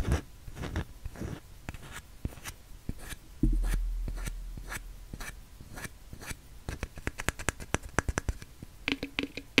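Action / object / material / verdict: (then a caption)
scrape / glass jar with plastic lid and paper label / plastic / none. A glass jar filled with dark loose contents, with a wide black plastic lid bearing a paper label, is held upside down while fingernails scratch across the label and the plastic lid. It makes a string of short, dry scratches and clicks with a bright edge. Partway through there is a louder low thump that fades slowly, and the quick crisp scratching picks up again toward the end.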